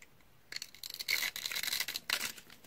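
A pink dry Fa bar soap with an embossed logo, held in the hand and scored into a grid with a utility knife blade, is crunched by long-nailed fingers. After a brief quiet start, dry, bright crunching and crackling bursts follow one after another as the scored cubes crumble off.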